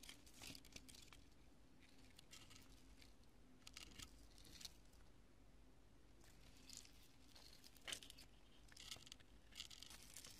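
Long nails and fingertips press and scratch across scattered pieces of cured, porous, solid pale-yellow polyurethane spray foam resting on purple cloth. The result is quiet, dry crunching and crinkling with bright, tearing bursts over a low, steady hum.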